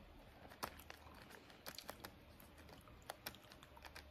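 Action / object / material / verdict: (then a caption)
tap / plastic film candy pouch / plastic film / none. Fingernails tap and scratch the surface of a small, seemingly filled Skittles candy pouch made of printed plastic film. Quiet, crisp clicks and short bright crinkles sound at irregular intervals over a low, steady background hiss. Each tap dies away almost at once.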